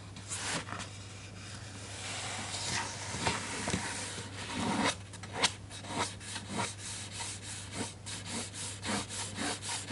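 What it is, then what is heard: Paper book page being rubbed. Fingertips trace and rub across the printed paper page of an open hardcover children's picture book lying on a desk, staying on the same spread throughout. Dry, bright, scratchy rubbing strokes come in uneven bursts, growing into quicker, more distinct swipes in the second half over a faint steady low hum.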